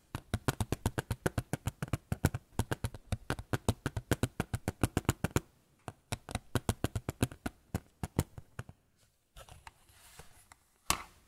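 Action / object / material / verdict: tap / small photo frame / unknown / none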